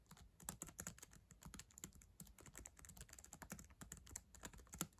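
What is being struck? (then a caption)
Plastic laptop keyboard keys. Long acrylic nails and fingertips type quickly on the plastic keys of a black ThinkPad laptop keyboard, a solid device. A steady stream of quiet, crisp clicks and taps carries bright, sharp edges over a soft low thump, and each stroke dies away almost instantly.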